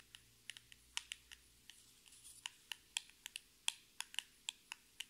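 Long red nails tap a small, hollow, orange printed cardboard cosmetic box held in both hands. They make 19 sharp, dry, high-pitched clicks at an uneven pace, with a brief soft scratchy rustle near the middle. Each tap stops almost instantly, with no ring.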